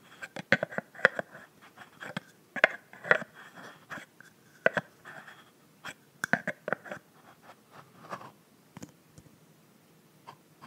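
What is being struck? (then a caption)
Plastic cap on a filled mist bottle. Long nails tap and scratch the frosted pink plastic cap of a filled plastic body mist bottle. Irregular sharp, dry clicks mix with short scratchy rasps, mostly in the mid-to-bright range with almost no low end. Each tap dies away instantly in a quiet, close setting.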